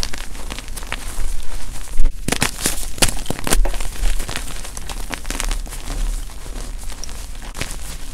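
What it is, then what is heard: Gym chalk blocks being crushed. Palms and fingers scoop and squeeze powdery chunks from a pile of lavender-white gym chalk blocks (magnesium carbonate). The result is a steady stream of dry, gritty crunching and crumbling, with short bright crackles and snaps over a constant low rumble.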